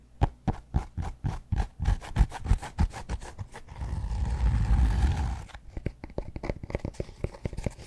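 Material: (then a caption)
Cork. Fingertips and nails tap the flat face of a large, solid, rectangular cork yoga block held upright close to the mic, making a quick run of dull, deep thuds. Midway, the tapping gives way to a couple of seconds of steady, rumbling scratching, then the soft, short-lived taps return.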